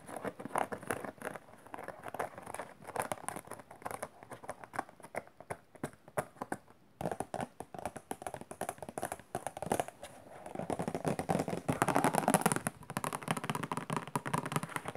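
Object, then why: Cardboard tissue box. Long nails tap quickly on the sides and top of a rectangular cardboard tissue box printed with macarons, with a plastic film opening, hollow and partly full of tissues. The result is a rapid stream of dry, short clicks and hollow knocks that die away almost at once. Around the twelve-second mark the taps crowd together into a denser, louder patter.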